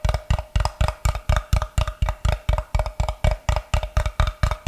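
Fingertips tap and scratch with their nails on a solid block of unfinished light wood held in both hands. About 22 quick, dull taps land in a loose, steady rhythm, each a deep thump with a short hollow knock that dies away almost at once. A faint scratchy texture runs between them.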